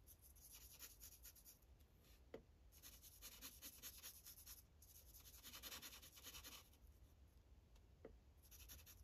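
A blue Sharpie marker tip scratches and rubs across a thin paper coloring page on a clipboard as it colors small areas. The quiet, bright, hissy strokes come in bursts separated by short pauses, with two sharp little ticks standing out over a low background rumble.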